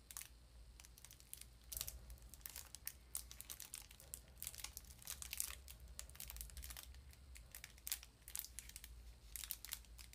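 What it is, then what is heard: Cardboard sardine box. A small cardboard sardine box is crinkled and tapped with long nails, giving quiet, rapid, bright crinkling clicks and scratchy taps. The sharp bursts come in irregular clusters over a steady low hum.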